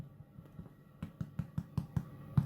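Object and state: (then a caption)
Hollow-sounding baked bread loaf (cooked through). A homemade bread loaf with an egg yolk and cream glaze, fresh from the oven and turned upside down, is tapped on its bottom with the hand. Seven soft, dull, low thumps are heard, each dying away almost at once. The completely hollow sound shows the bread is cooked through.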